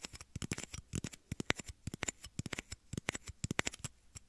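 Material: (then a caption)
Plastic. Small, hollow, empty clear plastic shot glasses, one held over each ear of a binaural mic, are tapped and scratched with fingertips and short nails. Around thirty quick, dry taps come in an uneven patter, each a brief bright click with a soft low thump and almost no ring.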